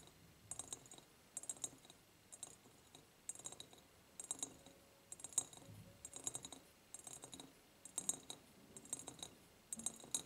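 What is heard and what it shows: Long nails tap and scratch on the sides of an empty, medium, ribbed clear glass jar. The sound comes in quick bursts of bright, clicky taps with short raspy scratches, separated by brief quiet gaps. Each tap dies away almost at once.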